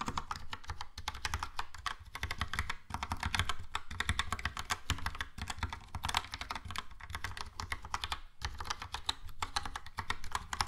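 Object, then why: Plastic mechanical keyboard. Fast typing with the fingertips of both hands on a Logitech POP Keys plastic mechanical keyboard with a yellow plastic case and round plastic keycaps. A dense, steady stream of short, bright clacks sits over a low thock, with brief pauses between bursts.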